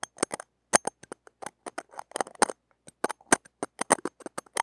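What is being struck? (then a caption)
Stainless-steel mesh microphone grille scraped with metal tweezer tips. Metal tweezer tips scratch and rub across the wires of a small, hollow, woven stainless-steel mesh grille on a mini microphone held in the fingers. About seventeen short, dry, crackly scrapes come in irregular bursts, each with a bright, high metallic edge. They stop dead, with near silence between them.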